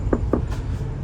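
Three short, dull knocks on a body panel from inside a Morodadi Prima double-decker bus body give brief low thuds with almost no ring, over a steady low rumble. The panel sounds very sturdy, and over potholes the body made no rattle; only the seat frame did.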